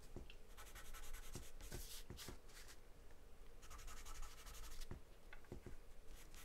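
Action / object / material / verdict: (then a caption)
scrape / graphite pencil on a paper sheet / paper / none. A graphite or charcoal pencil, held in the hand, scribbles and scratches across a large white paper sheet taped flat to a dark surface, shading with quick back-and-forth strokes. The result is a steady, soft scratchy rubbing in bursts of bright hiss, with short sharper scrapes over a low, dull undertone.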